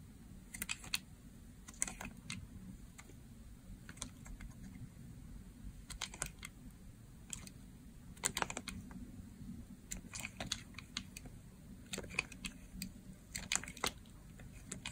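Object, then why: Bar of soap cut with a blade. A solid blue striped bar of dry soap, held in the hand, is cut into thin curling slices with a box-cutter blade. Short, dry, crunchy scraping clicks come in irregular clusters, bright and crisp in the highs, over a steady low hum.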